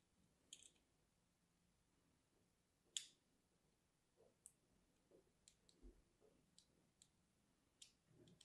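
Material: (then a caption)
Soap. A thin metal needle or pin scratches and scores the surface of a small, solid, orange-and-white striped soap bar held in the hand. Faint, sparse, bright clicks and short scratchy ticks stand out against near silence, with a sharper scrape near the three-second mark. Each sound is crisp and dies away almost instantly.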